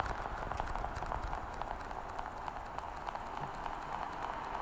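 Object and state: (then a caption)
Plastic pill organizer. A small translucent blue plastic weekly pill organizer with hollow compartments is held sideways and tapped and scratched with long painted nails. The result is a steady, dense stream of light, hollow clicks and scratchy rustling, centered in the midrange around 770 Hz with a soft low rumble underneath.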